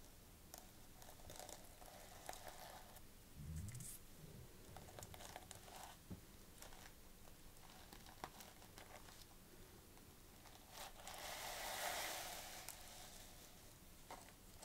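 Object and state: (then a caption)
Sequin-covered notebook cover. Fingers rub and scratch across the gold plastic sequins covering a flat notebook, making a quiet, irregular crinkling and tapping texture. A louder, brighter rasping swell builds around the middle of the clip and again near the end.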